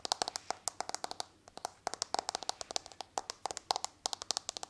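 Long nails tap rapidly on the back of a smartphone in a hard patterned plastic case, held near the microphone. Around 38 short, dry clicks come in quick irregular bursts with a short pause in the middle. Each click is crisp and bright with a tone near 785 Hz, and there is almost no ring or low end.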